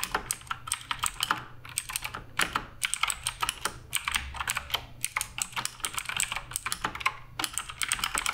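Fingertips type continuously on the plastic keycaps of a black RGB Redragon K588 Broadsword mechanical keyboard. The result is a steady, rapid stream of short, bright clicks and clacks with very little low end, each one dying away almost instantly.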